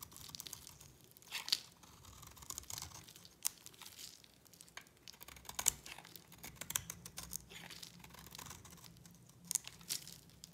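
A utility knife blade scrapes and carves flakes off a solid pink bar of dry soap held in the hand. The sound is quiet, bright, crackly scraping and tearing, with a few sharper crisp cuts standing out along the way.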